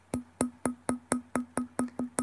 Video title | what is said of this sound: What To Look For When Buying Japanese Antique Pottery - UNBOXING + LIVE Q and A | not ring like porcelain because it's actually stoneware